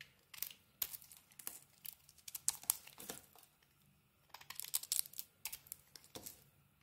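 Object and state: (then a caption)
Bar of soap being carved. A small metal blade scrapes and carves the pink coating off a white bar of soap. Irregular bursts of dry, crisp scraping and crackling come in quick clusters with short quiet gaps between them. The sound is bright and thin, with almost no low end.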